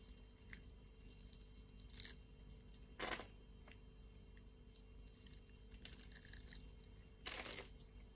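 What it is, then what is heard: Soap bar being cut. A solid red translucent soap bar, held in a hand with long nails, is scored and shaved into small cubes with a utility-knife blade. Bright, crisp scraping and cutting strokes come in short bursts, with the loudest strokes near the middle and end. Faint ticks and a steady low hum sit between them.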